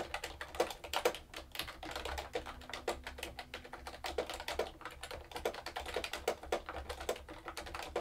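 Fingertips with long nails type continuously on a mechanical keyboard with round plastic keycaps. The result is a quick, uneven stream of sharp, bright clacks with short, dry decay over a faint steady low hum.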